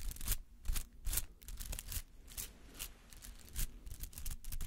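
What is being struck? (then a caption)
Rubber artificial flower. A palm-sized white-green artificial flower made of rubber, with spiky petals, is held in one hand and scratched with the fingernails of the other. Quick, irregular bursts of dry, bright, scratchy rasping come through close-up over a low background rumble.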